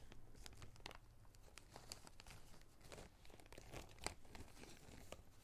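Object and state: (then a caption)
Plastic zip bag of small rubber rings, crinkled. A small clear plastic zip-lock bag of small red rubber rings is squeezed and crinkled with the fingertips. Quiet, dense crinkling comes with short, sharp bright snaps, and the rings rattle slightly inside.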